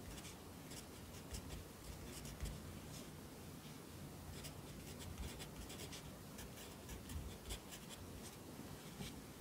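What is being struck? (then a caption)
Graphite pencil on paper notebook page. A yellow wooden pencil held in the fingers writes across the page of an open lined paper notebook lying flat on a desk, its graphite scratching on the paper. Soft, steady scratching strokes with bright, brief flicks run throughout over a quiet low background, with a few slightly louder strokes standing out.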